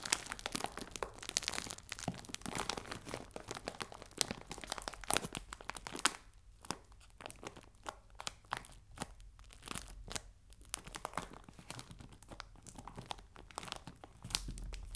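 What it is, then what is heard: Plastic bag of biscuits. A clear plastic bag full of biscuits lying on a table is rubbed and scratched with fingertips and nails. It makes dense, bright crinkling and crackling, with sharp clicks and crunches. The sound is busiest in the first six seconds, then turns sparser and quieter with scattered crisp snaps.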